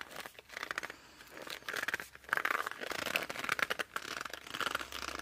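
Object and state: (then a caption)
Laminated cardboard board book being gripped. Fingers grip and squeeze the cover and edges of a laminated cardboard board book, held tilted and edge-on. This produces a dense run of short, dry squeaks and scratchy, crinkling rubs with bright, squeaky tones around 1.6 kHz. The sounds come in uneven bursts separated by brief quiet gaps.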